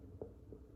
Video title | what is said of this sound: Nice and smooth with SV and RX | it sounds like plastic look here it's metal though